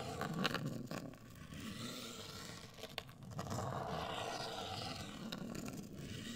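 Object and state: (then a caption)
Cardboard box scratched and tapped with nails. Long acrylic nails scratch and tap a hollow, medium-size, black printed rigid cardboard cosmetic box. A steady dry, rasping scrape runs throughout, with a few sharp, bright taps breaking through. The taps die away almost instantly, without ringing.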